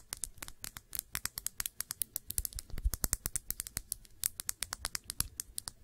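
Long nails tap rapidly on the glass body of a small perfume bottle with blue liquid and a blue cap, making about forty sharp, bright clicks that die away almost instantly. A soft low thump sits under each tap, and the taps come in a quick, uneven rhythm.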